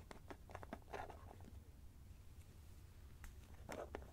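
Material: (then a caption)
Plastic. Fingertips with short nails twist and unscrew the orange plastic screw lid of a small white plastic cosmetic cream jar, which is hollow and presumably filled with cream, held in both hands close to the microphone. Quiet bursts of rubbing and clicking from the plastic threads cluster in the first second and a half and again near the end, over a steady low hum. The clicks are brief and stop almost at once.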